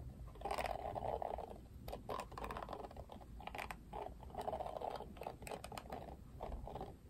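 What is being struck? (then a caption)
Plastic paddle hairbrush bristles. Fingertips and nails scratch across the plastic bristles of a plastic paddle hairbrush, making a dense, quiet scratchy crackle. Strokes swell in bursts with a band around 600–700 Hz and frequent sharp, bright ticks, separated by brief lulls.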